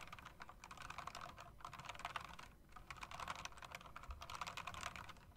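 Fingertips and long nails type quickly on an RGB mechanical typewriter-style keyboard with round plastic and metal-rimmed keycaps, striking the keys and the space bar. A steady run of sharp, bright clicks and clacks with very short decay continues, broken by brief pauses around 1.5 and 2.6 seconds.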